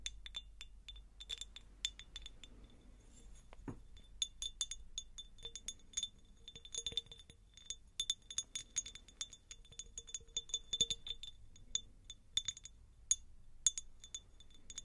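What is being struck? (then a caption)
Cut glass jar. A clear, faceted, hand-sized cut-glass jar, hollow and empty, is tapped and scratched with long nails. The result is a steady stream of bright, high glassy clinks and ticks with faint scratchy brushing between them, each tap ringing only briefly.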